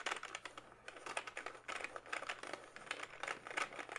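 Fingertips type on the keys of a plastic backlit membrane gaming keyboard held up in front of the face, giving a quick, uneven stream of short, soft clacks. The taps are bright and dry, with almost no low end and a faint steady hum underneath.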